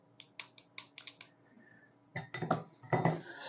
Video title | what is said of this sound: LEGO 6541 - Intercoastal Seaport (1991) Build With me | You can hear that metallic clink.